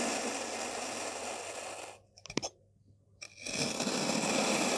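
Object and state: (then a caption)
Kinetic sand block being cut. A white-bladed kitchen knife is drawn repeatedly through a solid, dense molded block of beige and dark purple kinetic sand, slicing it. A steady, bright, gritty scraping hiss fills the opening seconds, drops to near silence broken by a brief cluster of sharp crunchy clicks, then swells back into the same dense scraping.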